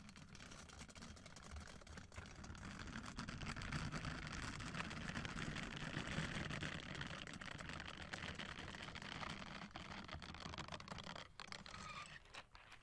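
A hand-sized orange silicone bath scrubber with soft bristles and a long handle is held in one hand close to the mic while fingertips rub and scratch its bristles. The result is a dense, continuous rustling scratch with a low rumbling body and a bright hiss on top. It swells gently and then fades near the end.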